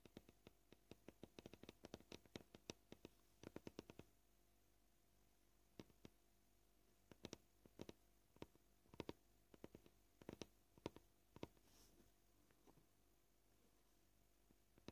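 Short painted fingernails tap on a solid white cutting board, probably plastic. A quiet run of short, dry clicks comes quickly at first, then slows to scattered, uneven taps over the rest of the clip.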